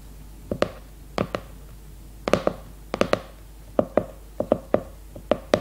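Long red nails rapidly tap and scratch the glossy cardboard cover of a leopard-print hardcover notebook held upright. Sixteen short, dry, hollow-sounding taps land in uneven pairs and clusters, each with a mid-pitched knock that dies away almost at once. A faint scratchy brush trails between some taps.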